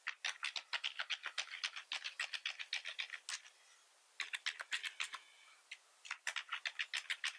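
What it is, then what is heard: Plastic computer keyboard being typed on. Fingertips of both hands press and tap the keys of a black plastic keyboard with a hollow body, making about 43 quick, bright, dry clicks with almost no low end. The typing comes in three uneven bursts, broken by two short quiet pauses.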